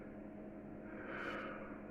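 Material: Nothing is struck.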